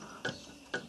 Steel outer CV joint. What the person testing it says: Khi xoay nó theo cả hai hướng , một tiếng gõ nhẹ được nghe thấy